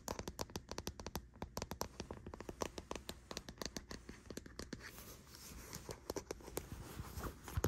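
Long nails tap and scratch the label and body of a hollow, hard white plastic deodorant stick container resting on a bedsheet. Rapid, sharp, clicky taps come in an uneven stream, then give way to a denser, continuous scratching texture toward the end, with a faint steady high whine in the background.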